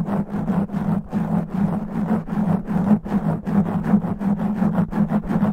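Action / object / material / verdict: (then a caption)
scrape / foam microphone windscreen / foam / none. Fingernails scratch fast and roughly across the top and sides of a black foam microphone windscreen. Close, dense rasping strokes come in quick bursts, about two to three per second, over a steady low hum and a tonal band near 190 Hz, with bright fizzy edges on each stroke.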